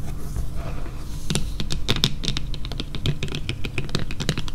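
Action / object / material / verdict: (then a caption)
tap / flat printed cardboard card / cardboard / none. Long fingernails tap and scratch a flat, yellow printed cardboard sign lying on a table. A soft, brushing scratch opens the clip, then gives way to a quick, irregular run of crisp, dry taps that die away almost instantly over a steady low hum.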